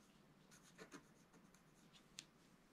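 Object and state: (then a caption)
Wax-coated scratch-art paper being scratched. A wooden stylus scratches fine strokes into the hair area of a flat, wax-coated scratch-art paper page. The result is quiet, dry, bright scraping with a few louder scratches and one sharp, high tick near the end, over a low, steady background hiss.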